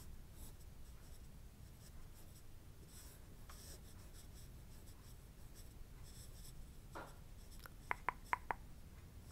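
A thin wooden stick, like a chopstick, traces and scratches lines along the pattern of a shiny blue satin-like robe fabric with a pink floral print, which is laid flat and held down by a hand. Quiet, steady scratching and rubbing with a soft bright hiss continues throughout. Near the end, a quick run of sharp, short, clicky ticks stands out.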